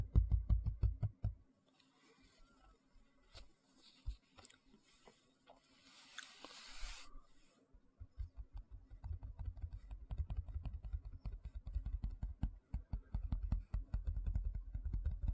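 Fingertips and nails scratch and tap the flat, empty surface of a large white plastic tray held vertically. A burst of quick, deep, dull taps gives way to a quieter stretch of soft scratching and scattered taps. From about eight seconds to the end, rapid, uneven tapping runs steadily.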